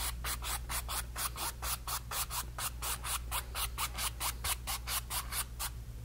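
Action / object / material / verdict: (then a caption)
scrape / paintbrush on stretched cotton canvas / cotton canvas / none. A brush tip is stroked and dabbed over a painted, stretched cotton canvas panel. It makes a quick, fairly regular run of bright, scratchy rubbing swishes, about two per second, over a steady low hum.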